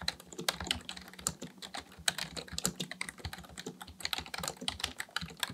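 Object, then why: Plastic computer keyboard. Both hands type steadily on a black plastic full-size computer keyboard on a desk, fingertips tapping the plastic keys. The result is a fast, irregular stream of short, bright clicks and clacks that stop almost instantly, with little low end and a faint low hum underneath.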